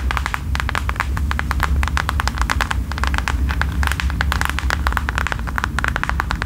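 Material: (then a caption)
Faux leather. Long nails tap and scratch quickly across a thin, flat mint faux leather passport holder held up in the air. The result is a dense run of crisp, dry clicks centered around 1 kHz with a little high brightness, over a steady low rumble.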